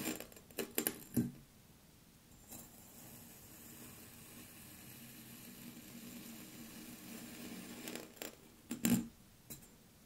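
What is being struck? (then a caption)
Mound of kinetic sand cut with a metal blade. A metal knife blade slices repeatedly into a small solid dome of blue kinetic sand on a wooden table, cutting it into thin layers. Short, crisp crunching and scraping bursts cluster near the start and again near the end, separated by a long stretch of quiet, steady low hiss.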